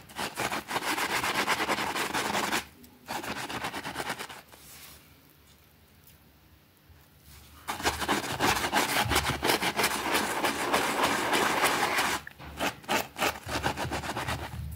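A white plastic brush scrubs back and forth over a small, thin green fabric rug that is wet and soapy on a concrete floor, with a finger holding the rug in place. Fast, rhythmic, bright swishing strokes come in bursts, fall to a near-silent pause in the middle, then resume steadily to the end.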